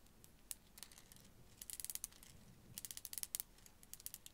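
A strand of small faceted blue glass beads hangs from fingertips beside a furry microphone and is jiggled and shaken so the solid beads click against each other. Quiet, bright, sharp clicks come in scattered ticks and two dense rattling bursts, each dying away almost instantly.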